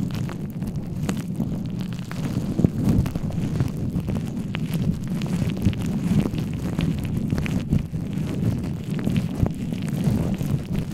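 Fingertips and palms rub, scratch and cup over a soft black foam windscreen on a microphone. The result is a steady, muffled low rumble, mostly deep and boomy, with brief crackly scratches scattered throughout and almost no bright content.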